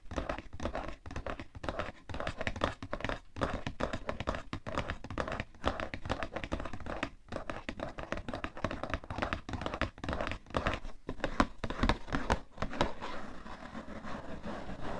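A cardboard tissue box is tapped with fingernails on its sides, then with fingertips on its top. The result is a fast, irregular stream of short, dry, hollow taps and light scratchy clicks. The sound is mostly low and dull with little ring, growing slightly softer and more muffled near the end.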